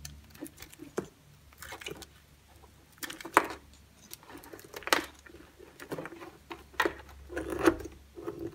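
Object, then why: Bar of soap. A solid green bar of soap held in the hand is scored into cubes and shaved with a utility-knife blade, while a second uncut green bar lies untouched nearby. Short, crisp scraping and cutting strokes come in irregular bursts with brief, dry clicks. The sound is quiet and sits mostly in the mid to high range with little low end.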